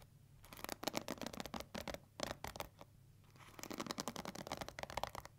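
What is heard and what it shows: Long nails rapidly scratch and flick the bristles of a pink plastic paddle hair brush with a black bristle pad. Quick, crisp, bright scratchy bursts come in two flurries separated by a brief quiet pause, each flick dying away almost instantly.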